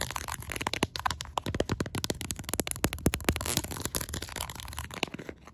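Long pastel acrylic nails rapidly tap and scratch the ribbed back of a black silicone case on a smartphone held in one hand. The result is a fast, irregular stream of short, dry clicks mixed with bright scraping. A low, muffled thump runs beneath them.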